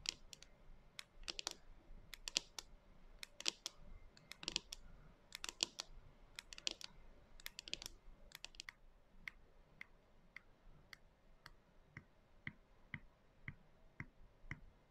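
Long nails tap a clear plastic canister with a white lid, lying on its side on a table and full of dry soy chunks, with a few loose chunks beside it. The nails strike both the jar body and the lid, making quick, bright, dry clicks with almost no ring. Dense bursts fill the first half, then the taps slow to a steady, evenly spaced rhythm.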